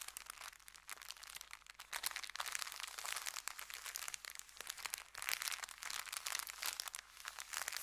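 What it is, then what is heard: Paper bag being crinkled. An empty brown kraft paper bakery bag, folded into layers, is pressed and crinkled with the fingers. The result is a steady, dense stream of bright, dry crackles and crunches that rise and fall in intensity for about eight seconds, with almost no low end.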